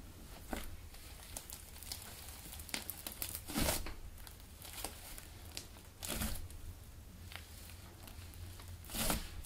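A large sheet of blue soft clay slime on a white table is stretched, folded over and pressed flat with both hands and fingertips. It makes soft, sticky squishes and bright, crackly tearing-like bursts, with the loudest swells near 3.5, 6 and 9 seconds over a steady low hum.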